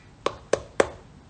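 A durian, still unripe and rock hard, is knocked three times with a knife handle or stick to judge its ripeness. Each knock is a short, dry tap centred in the mid range and dies away almost at once. The fruit is not ready yet and will be left two to three days before being knocked again.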